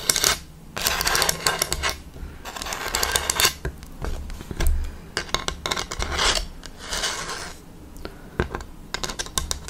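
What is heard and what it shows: Long fake nails tap and scratch along the top edge and the ridged slats of a large, light bamboo slatted panel held upright, giving a hollow sound. Bursts of bright, dry scratching alternate with quick, sharp clicking taps that stop short with almost no ring.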